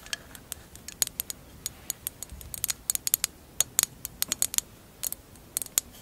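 A hollow, empty mosaic glass candle holder lies on fur while long acrylic nails tap and scratch its clear glass bottom and mosaic edge. The result is an irregular run of sharp, bright clicks and ticks that die away almost instantly, with faint scratchy texture between them and almost no low end.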